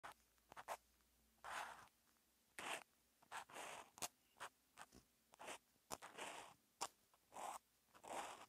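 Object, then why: Felt-tip marker on a paper notebook page. A felt-tip outline marker, silver with a teal outline, is written by hand across a flat sheet of lined white paper in an open notebook, forming Japanese characters. The marker tip makes short, dry scratching strokes and longer soft gliding swishes in irregular bursts separated by silence. Bright, papery friction carries across a wide band with almost no low end.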